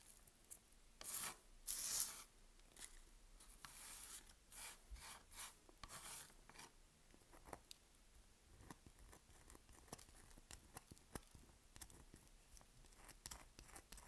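A hand-sized, solid, dry lilac Palmolive bar of soap is held in one hand while long acrylic nails scratch and rub grooves into its surface, flaking off soap powder. Bright, dry scraping and rasping strokes come first, then a long run of short, crisp scratches and ticks, all quiet and close.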